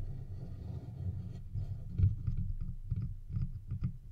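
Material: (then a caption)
Metal. Fingertips and nails from both hands scratch and tap the sides of a hollow, silver metal microphone body. The result is a low, muffled, boomy rumble with soft thumping taps throughout, the loudest knock coming about halfway through.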